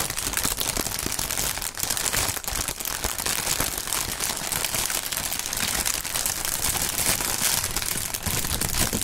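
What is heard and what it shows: Clear, printed polyethylene air-cushion film, the plastic air-pillow kind used as packaging, is crinkled between both gloved hands. A dense, continuous crackle of bright, crisp crinkles runs steadily for about nine seconds, with small pops and crunches scattered throughout.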